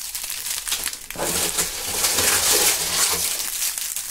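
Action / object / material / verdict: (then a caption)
scrape / dry autumn leaves / leaves / none. Bunches of dry brown maple leaves held in gloved hands close to binaural microphones are crumpled and crushed with the fingertips. After a quieter opening of scattered crackles, a dense, bright crinkling and crunching swells and continues steadily, with short louder bursts throughout.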